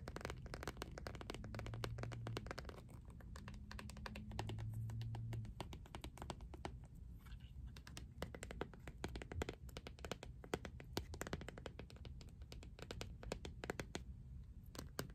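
Long nails rapidly tap and scratch the textured back and edges of an empty, thin, hollow, transparent iridescent ridged plastic phone case. The result is a dense stream of quick, dry clicks and scrapes with almost no ring. A low, steady hum rises briefly twice in the first half.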